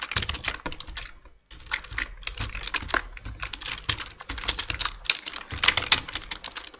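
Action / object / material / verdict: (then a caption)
tap / plastic computer keyboard / plastic / none. Dense two-handed fingertip typing on a black plastic full-size computer keyboard produces rapid, bright key taps with very short decay. A brief pause near the 1.5-second mark interrupts the otherwise continuous clatter.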